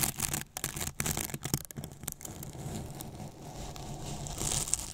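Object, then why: Polyethylene foam box. Flat paintbrush bristles rub and scratch the surface of a large, white, hollow polyethylene foam box with a microphone inside. Choppy, bright scratchy strokes come in quick bursts at first, then settle into a steadier rustling hiss over a hollow low rumble from inside the box.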